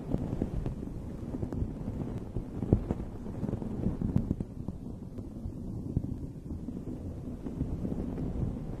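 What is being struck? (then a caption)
Fuzzy fabric microphone windscreen. Long red nails scratch a dome-shaped fuzzy fabric microphone cover while the other hand rests on it. The result is a dense, muffled, low rumbling rustle with little high end, dotted with brief soft ticks and scrapes throughout.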